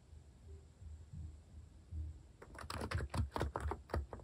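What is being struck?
Capacitive keyboard with plastic keycaps.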